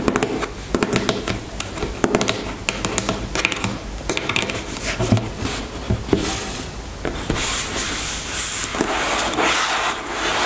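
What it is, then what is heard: Plastic cosmetic tube. Long nails tap and scratch along the length of a white plastic cream tube lying on a table. Quick, sharp clicky taps mix with dry scratching. The second half turns into a steadier, brighter scraping hiss.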